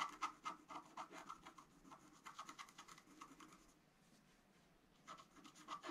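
A wooden stylus scratches the black coating of a flat scratch-art card (black-coated paper) around a gold halo. Quick, bright, dry scratching strokes come in rapid bursts, fade to near silence for about a second, then resume.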